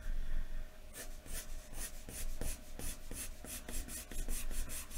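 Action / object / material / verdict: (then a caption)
scrape / graphite pencil on a paper sheet over a wooden desk / paper / none. A wooden graphite pencil is scratched across a large, thin white paper sheet lying flat on a wooden desk in quick back-and-forth shading strokes. After a quieter first second, a rapid run of dry, bright, raspy scratches follows, steady and rhythmic over a low background rumble.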